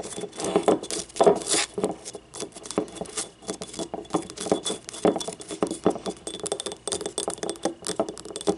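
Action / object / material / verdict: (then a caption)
tap / small ribbed ceramic cup / ceramic / none. A small, hollow, yellow ribbed ceramic paint cup is held on its side and tapped with long nails. The result is a quick, irregular patter of light, bright clicks with a faint hollow tone around 400 Hz. Each tap dies away almost instantly.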